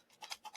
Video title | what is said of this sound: Tobacco storage short and long term. season 4 Ep. 23 | This is full, right? This isn't dry. You can hear it's kind of like a dull thud.